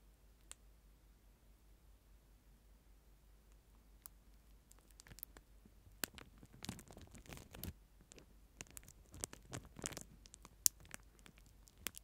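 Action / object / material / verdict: tap / plastic spoon in a plastic film wrapper / plastic / none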